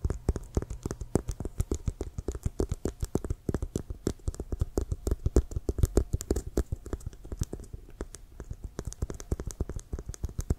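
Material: Leather.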